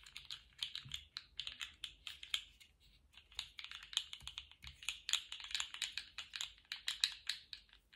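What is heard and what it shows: Fingers in lace gloves twist and shake a small, colourful, segmented plastic slug fidget toy with hollow, jointed segments. The segments rattle and click in quick, irregular bursts of short, dry, bright ticks centred near 3.8 kHz, with almost no low end. The clicking eases off briefly just before the three-second mark, then resumes in denser clusters.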